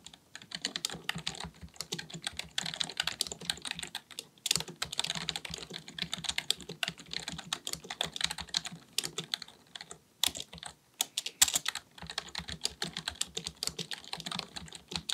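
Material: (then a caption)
Plastic. Rapid, bright key taps from the fingertips of both hands typing on a black full-size plastic computer keyboard resting on a desk. The short, dry clicks run in quick bursts with brief pauses near 4.5 and 10.5 seconds.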